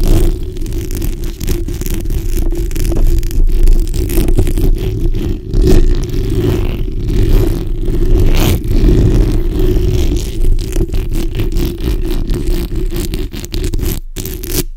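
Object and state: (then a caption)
Metal mesh microphone grille being scratched. The backs of long nails scratch and rub across a black hollow steel mesh microphone grille, producing a dense, continuous low rumbling scrape with a steady hum-like band in the low mids. Irregular rustling bursts rise and fall throughout, with a brief near-silent gap just before the end.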